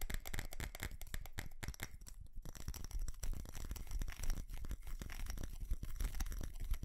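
Fingernails tap and scratch on a small ceramic light-up Christmas tree with plastic bulbs and a star, held close to the mic. A dense, uneven stream of short, dry clicks and scratchy crackles continues throughout, with a heavy low thump underlying each touch and no ring after the hits.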